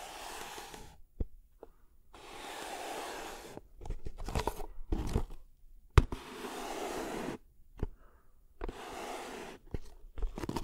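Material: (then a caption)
Cardboard. Fingertips tap and scratch the top of a hollow kraft cardboard box held horizontally above the microphone. Stretches of soft, broad scratching alternate with sharp, dry taps and crinkly bursts, all with a deep, boomy low end.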